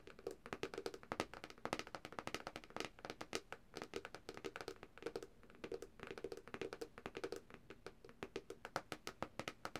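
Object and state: Glass tablet screen tapped with nails.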